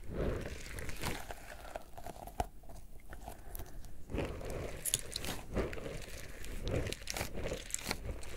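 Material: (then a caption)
Rubber. A small yellow pineapple-shaped squishy stress ball, with a stretchy rubber skin filled with gel beads, is squeezed and rubbed with the fingertips. It makes a steady stream of soft, crunchy, crinkly squelches with a heavy low-end body and sharp bright clicks scattered throughout.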